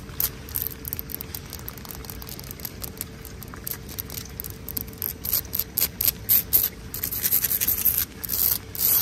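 Long nails and fingertips scratch and rub a wet, pebbly, solid exposed-aggregate concrete ground. The result is a continuous gritty, bright scraping texture made of irregular short strokes that grow louder and more distinct toward the end, with possible rain in the background.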